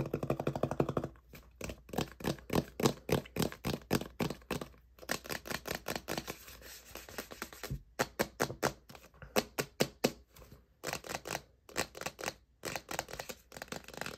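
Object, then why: Plastic tub with plastic lid. A large, hollow white plastic supplement tub with a blue plastic lid, its contents not visible, is held in the hand and tapped and scratched with fingertips and short nails. It opens with a dense, fast flurry, then moves into quick runs of dry, hollow taps with soft scratching between them, separated by brief pauses. Each tap has a low, boxy tone and dies away almost at once.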